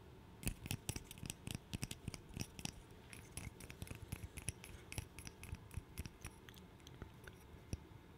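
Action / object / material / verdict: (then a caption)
tap / small wooden puzzle piece / wood / none. A small, solid, light-colored wooden interlocking puzzle piece, I-shaped, is held in both hands close to the microphone and tapped and clicked with fingertips and nails. Many quick, dry clicks and taps come in irregular bursts, with no ring, over a soft low rumble. The sharp transients have a bright edge.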